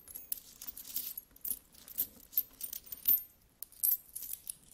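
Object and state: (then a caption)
Pile of metal coins. Hands with long nails scratch and rummage through a large, spread-out pile of solid metal coins. Bright, clinking jingles and scraping rustles come in quick bursts of short, sharp metallic taps that fade almost at once. Brief quiet gaps fall between the handfuls.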